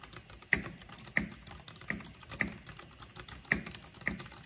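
Fingertips and long painted nails type on the keycaps of a full-size black plastic mechanical computer keyboard with purple RGB backlighting. A steady patter of soft, bright taps runs throughout, punctuated by six louder, sharper clacks that peak near 2 kHz and die away almost instantly.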